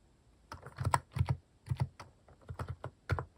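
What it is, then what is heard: Plastic mechanical keyboard being typed on. A plastic mechanical keyboard with cat-shaped keycaps is typed with the fingertips at a slow, uneven pace. Each keystroke is a short, soft, low thock with a little clack on top, dying away almost at once, with quiet gaps between small bursts of keys.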